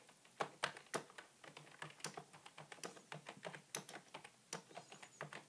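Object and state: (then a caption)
Plastic computer keyboard. A beige full-size plastic computer keyboard with a hollow body is typed on by fingertips, with one hand by the end. Quick, dry clicks and clacks come in an uneven rhythm, some louder than others, each dying away almost at once and leaving a bright, hollow plastic tap.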